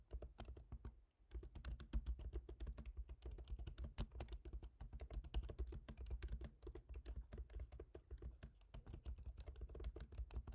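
Fingertips type on the plastic keys of a silver MacBook Pro's aluminium laptop keyboard. The result is a rapid, steady stream of short, dry taps with a low thud and little ring. There is a brief pause just after the first second before the typing resumes.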